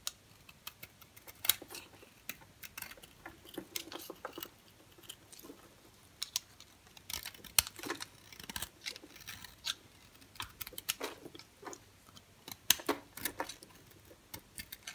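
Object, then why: Bar of soap scraped with a knife blade. A solid white bar of soap held against the fingers is carved and scraped with a green utility-knife blade. Many short, bright, crisp scraping and cutting clicks and crunches sound close up over a quiet background, coming in irregular bursts.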